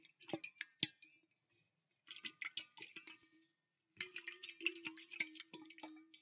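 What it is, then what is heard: Stainless steel tumbler partly filled with water. A pale green stainless steel tumbler partly filled with water is tilted and shaken with both hands. Quick, bright metallic clinks and water sloshing come in three short bursts separated by silent pauses, each hit dying away almost at once.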